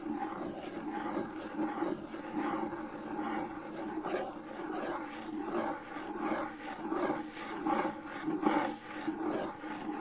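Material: Nothing is struck.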